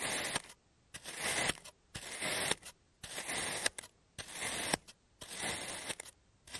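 A clear serrated plastic cutter slices through a solid, shaped block of pink kinetic sand on a blue surface, cutting it into thin layers. Six bright, gritty crunching scrapes are heard, each about half a second to a second long and separated by quiet pauses with faint clicks. A seventh scrape begins at the very end.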